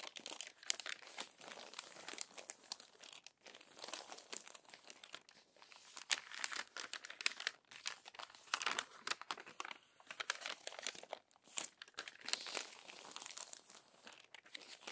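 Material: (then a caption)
Paper. An open glossy paper magazine has its crinkled pages smoothed by hand with long nails and then turned. Dense, bright crinkling and crumpling rustles run throughout in quick overlapping bursts, with short sharp edges and almost no low end. The result is a steady, crisp papery texture.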